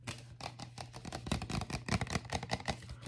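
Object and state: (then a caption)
Plastic drinking cup. A large red-and-white Raising Cane's plastic cup with a lid, hollow and held in hand, is tapped and scratched with fingernails. Quick, irregular, hollow clicking taps mix with bright scratchy brushing over a steady low hum. Each tap dies away almost at once.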